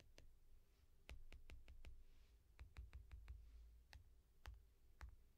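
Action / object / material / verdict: tap / tablet with glass screen in foam rubber case / glass / none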